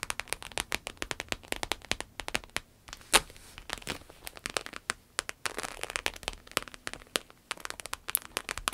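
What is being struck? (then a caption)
Embossed vinyl wallet. Long nails tap and scratch the embossed surface of a small, rectangular, glossy red patent vinyl wallet with a croc-embossed texture, lying closed and flat. Rapid, crisp, bright clicks land in quick clusters, each dying out almost instantly. Stretches of dry, scratchy rustling fill the gaps between the taps.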